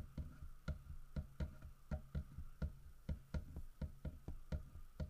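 Fingertips and nails tap near the fish and along the side of a large, solid carved wooden bear statue. About fifteen short, dull, low knocks sound in an uneven rhythm, each dying away almost at once over a faint steady hum.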